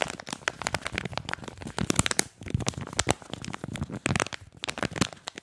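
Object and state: Cardboard and plastic blister pack.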